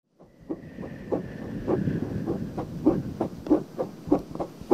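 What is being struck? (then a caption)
Silicone binaural microphone ear. A small, soft pale pink silicone ear on a 3Dio-style binaural microphone is scratched and rubbed in and around by long painted nails. The clip is a close, muffled stream of rubbing broken by sharp scratchy strokes that repeat at an uneven pace, with low rumbling texture under a thin high hiss.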